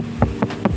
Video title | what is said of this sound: Upgrade Ciamik Dari Mazda! Siap Konser Didalam Mobil? | rigid banget suaranya kayak batu